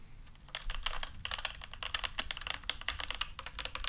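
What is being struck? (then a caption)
Mechanical keyboard with plastic keycaps. A full-size black mechanical keyboard with plastic keycaps and a solid body is held up with both hands while fingertips press and tap its keys. Fast, bright, clicky keystrokes follow one another in quick, uneven bursts, each click short and sharp with a peak near 3.4 kHz and almost no ring. A faint low rumble sits underneath.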